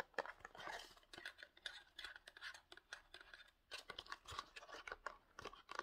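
Fingertips and short nails tap and scratch a small rectangular printed cardboard Pantene box, apparently with the bottle still inside. A quiet, rapid series of dry, crisp taps and scratchy rustles sits mostly in the mids and highs with almost no low end. Each sound dies away almost instantly.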